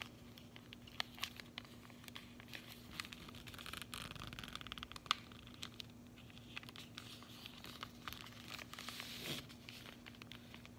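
Long manicured fingernails tap and scratch across the faces and edges of a flat, rectangular, orange printed paperboard sleeve from a Chocolove chocolate bar, held in both hands with the bar still inside. Quiet, dry, bright clicks and scratchy crinkling rustles come in quick, irregular bursts with almost no ring, over a faint steady low hum.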